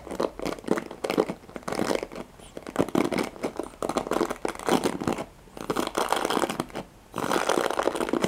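Fingertips and nails scratch the nylon pin bristles of a handheld black plastic paddle hairbrush held close up. The result is dense, crinkly scratching in rapid bursts, concentrated in the low-mids to upper-mids, with brief pauses around 5.3 and 7 seconds.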